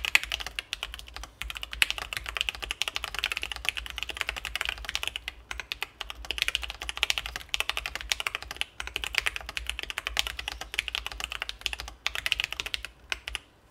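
Continuous fingertip typing with both hands on a Sesame Ergo split mechanical keyboard with C3 Kiwi switches, an acrylic case and plastic keycaps, resting on a desk mat. Fast, dense, bright clacky keystrokes with no ring fill the clip, with brief pauses, over a faint steady low hum.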